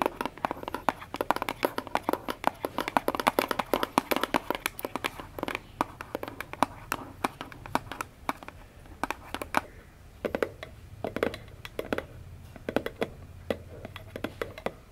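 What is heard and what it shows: Long natural nails tap and scratch the sides and top of a small, hollow orange cardboard gift box held upright on a wooden table. Dense, rapid, dry taps with a papery scratching texture fill the first half, then thin out into sparser, hollower knocks. Each tap is short and clicky, centered in the midrange with some bright edges.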